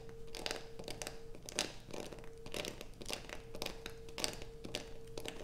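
Long acrylic nails scratch a solid blue bar of soap lying on black fabric beside a pile of shavings. The result is repeated dry, crinkly scraping bursts with bright edges, while a faint steady tone runs underneath.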